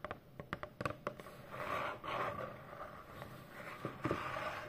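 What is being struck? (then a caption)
Corrugated cardboard box. Long fingernails tap rapidly across the front panel of a hollow brown corrugated cardboard Amazon box, giving a quick run of crisp, dry clicks. A softer scratchy rubbing follows over the cardboard, then a few more taps near the end.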